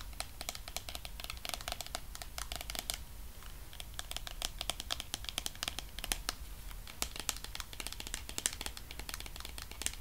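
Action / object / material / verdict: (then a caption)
tap / plastic cream tub / plastic / none. Fingernails tap rapidly on the hollow sides and white lid of a medium pink plastic body cream tub held in the hands, making a dense run of sharp, bright, typing-like clicks. A faint crinkle, possibly from the label band, runs beneath the taps. Each click dies away almost instantly over a low, steady background rumble.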